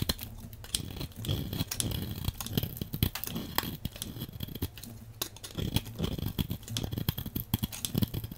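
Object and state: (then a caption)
Bar soap being cut. A hand-sized, solid translucent red oval bar of soap, held in the hand, is scraped and cut with a metal blade, one bar throughout. Dense, crisp scraping and crunchy cutting clicks come in quick bursts over a steady low hum, with bright, sharp transients that stop almost instantly.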